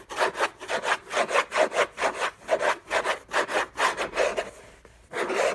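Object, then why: Rigid paper-covered cardboard gift box. Fingertips and short nails scratch the textured, paper-covered rigid cardboard lid of a large, flat, orange Hermès gift box, which is closed and hollow. About ten quick, uneven rasping strokes come in a steady back-and-forth rhythm, with a dry midrange scrape centred near 600 Hz and a bright hiss on top. The scratching briefly fades near the end, then resumes with a loud final stroke.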